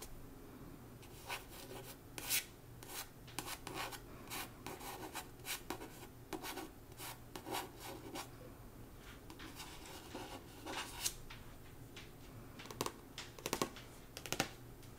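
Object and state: Paperback book cover.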